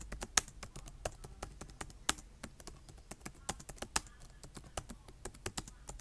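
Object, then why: Plastic laptop keyboard. Fingertips of both hands type on a black plastic laptop keyboard, tapping the keys in a quick, uneven rhythm. Each keystroke is a short, crisp, bright click that stops almost instantly, with a few louder taps standing out over a quiet background.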